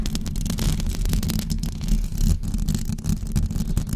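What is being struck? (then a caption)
Knitted fabric microphone cover. Long blue acrylic nails on both hands scratch a white knitted fabric cover stretched over a rounded microphone head. The result is a continuous, dense, muffled scratching with a deep, boomy rumble and soft fuzzy rustling on top.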